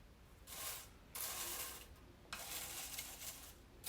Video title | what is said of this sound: 羽衣甘藍 Kale 羽衣甘藍葉烤片，羽衣甘藍葉脆片 不同做法及調味，低热量，健康减肥，美味酥脆，好吃得不得了The crispy, healthy，yummy roasted Kale chips | 听听非常酥脆的声音，而且没有粘连